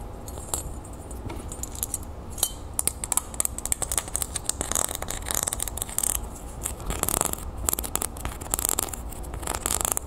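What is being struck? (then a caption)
Small textured copper metal disc. Long painted nails scratch and tap quickly across a small, flat, round copper-toned metal disc earring with a scale-textured surface, held in the hand. Rapid dry scrapes and sharp, bright ticks stop short with no ring, over a steady low background hum.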